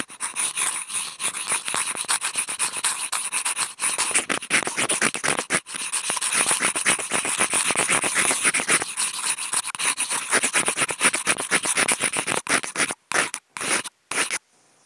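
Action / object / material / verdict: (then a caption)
scrape / wooden toothpicks on a corrugated cardboard sheet / cardboard / none. Two wooden toothpicks clipped to contact mics are rubbed and scratched with both hands across a large, flat, brown corrugated cardboard box sheet. The result is a dense, bright, papery scratching of rapid, uneven strokes with almost no low end. Near the end it breaks into a few short bursts separated by silences.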